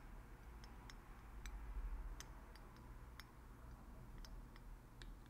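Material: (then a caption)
Glass. Fingertips unscrew and screw the black plastic dropper cap on a small, partly filled blue glass oil bottle. Short, sharp, bright clicks come at irregular intervals over a quiet, steady low rumble.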